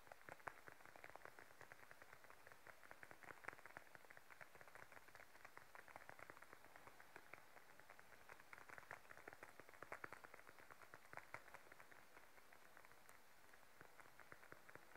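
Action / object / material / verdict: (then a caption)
tap / patent leather wallet / patent leather / none. Long nails and fingertips tap rapidly on the top of a small, closed, glossy beige patent leather wallet lying flat on a table. The result is a quiet, steady stream of crisp, dry clicks with a mid-range tone and no ring, continuing throughout with occasional slightly sharper taps.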